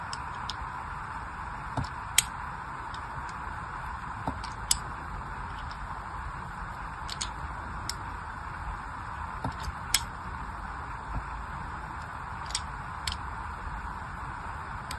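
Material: Soap.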